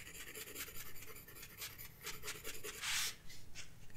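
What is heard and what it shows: A graphite pencil rubs and scratches in shading strokes across a flat paper sketchbook page. Quick, bright, papery rasps repeat over a low background hiss, with one longer, louder scratch near the three-second mark.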